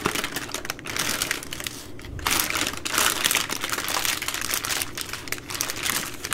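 A full soft plastic baby wipes pack of 80 wipes with a hard plastic flip lid is held in both hands and squeezed and crinkled by fingers and long nails. Dense, bright crackling and crinkling runs steadily through the clip, swelling louder in bursts and then easing off, with little low end.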